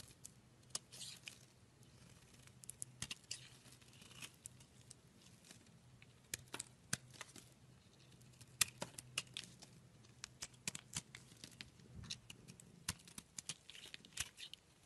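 A utility knife blade scrapes and chips flakes off a solid pink-red rectangular bar of Duru soap held in the palm. Quiet, bright, crisp scraping and tearing sounds are punctuated by dozens of sharp, dry clicks as the flakes break away. A faint low hum sits underneath throughout.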